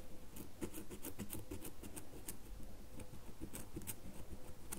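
Long nails scratch along the surface of a solid red bar of soap held in both hands. The result is a quiet, steady run of soft, dry scratching ticks, low and muffled in body with faint bright edges.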